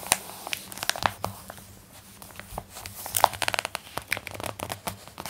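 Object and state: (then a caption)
Glossy magazine page. A page of an open glossy paper magazine is flipped over and smoothed down with fingertips and long nails, making a dry, crinkling rustle. Sharp, bright crackles and clicks stand out over a quiet, airy hiss, with almost no low end. The sound rises into a denser burst of rustling partway through before settling again.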